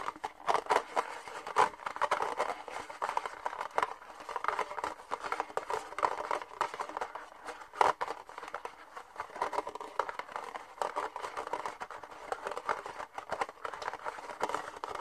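Fingernails tap and scratch the ribbed sides of an empty red disposable plastic party cup, hollow with thin walls and held in both hands. The result is a steady run of quick, dry clicks and scratchy rasps with a hollow midrange ring and almost no low end. Occasional sharper taps stand out from the constant scratching.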